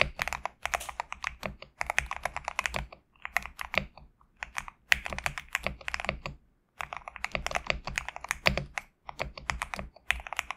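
Fingertips type on a GMK67 compact mechanical keyboard with PBT plastic keycaps resting on a desk mat. Quick, bright, clacky keystrokes come in dense bursts separated by brief pauses, each click dry with almost no ring and a light low thud underneath.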